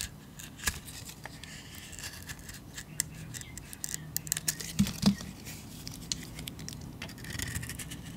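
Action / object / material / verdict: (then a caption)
scrape / bar of soap / soap / none. A solid cream painted bar of soap is held in the hand while a metal blade scrapes and cuts slices from it, and chunks break off. Quiet, irregular crisp scraping and crackling clicks run throughout, with a few sharper snaps near the middle as pieces break away.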